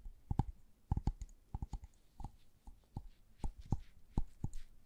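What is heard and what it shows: A small, hollow white LED bulb with a plastic dome and base is tapped and scratched with long gloved nails. It makes a quick run of dry, short clicks and taps with a soft, muffled low thump and a faint bright tick. The clicks come in uneven clusters with brief scratchy rasps between them.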